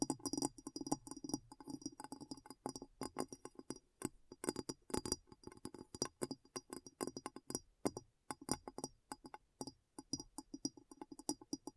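A glass bowl is tapped in rapid, uneven bursts of clinking taps, each short and dry with a faint ring. The taps are bright with a low tone near 270 Hz, broken by brief pauses.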